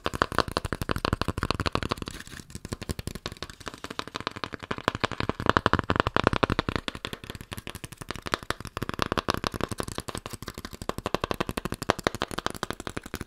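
Cardboard is tapped in a rapid, continuous stream of dry, clicky taps with almost no ring, rising and falling in intensity in bursts over about 13 seconds. No talking is heard.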